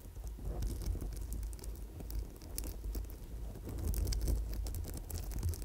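A gold-wire coil bracelet covered in purple amethyst chips, held close to a microphone, is scratched and tapped with long nails. The result is a steady, dense stream of soft crackling, rustling and small bright clicks over a low, muffled rumble. The level swells gently and stays fairly even throughout.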